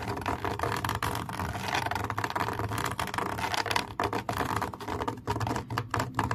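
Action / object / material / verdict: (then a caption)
scrape / camouflage fabric mesh cover / fabric mesh / none. Long nails scratch and tap across a camouflage fabric mesh cover, producing a dense, continuous rasping texture with quick, dry taps scattered through it. The sound centers in the midrange around 1 kHz, with a faint low rumble underneath and little ring after each contact.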